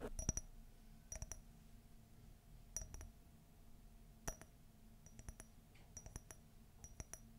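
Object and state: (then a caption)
Ceramic coffee mug. Long fingernails tap a hollow, empty white glossy ceramic coffee mug with a gold Minnie silhouette and a gold handle. Quick, bright clinks come in small clusters and die away almost at once, over a soft low hum.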